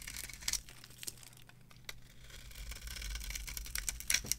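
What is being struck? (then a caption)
Soap bar scraped with a metal knife. A metal knife carves and scrapes a solid, dry, varnished bar of soap with purple edges and a cream core, held in the hand. Crisp, bright crackling and crumbling scrapes come in short dry bursts with sharper snaps near the start and end. A faint low hum runs underneath.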